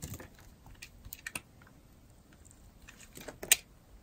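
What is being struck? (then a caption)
Bar of soap scraped with a metal blade. A solid, dry blue-and-white striped bar of soap is held in a hand with long nails while a metal blade scrapes shavings off its edge. The result is a series of short, crisp, bright scraping and crunching clicks that decay quickly, with the sharpest scrape near the end.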